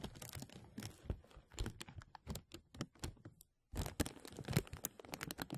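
Hands rub the sides of a thin, translucent plastic bag stretched over a mesh microphone, making dense, close crinkles and soft rustling thumps with a heavy low-end boom. The crinkling pauses into near silence for a moment just past the middle, then resumes with sharper, brighter crackles.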